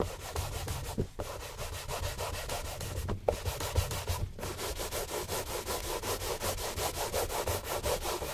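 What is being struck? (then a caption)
Leather dress shoe rubbed with a cloth. A gloved hand rubs and buffs a hollow, empty brown Santoni leather oxford shoe, mounted on a stand beside its matching pair, with a yellow cloth. The result is a steady run of quick, rhythmic swishing strokes, with a low rumble beneath brighter cloth friction and a few brief pauses early on.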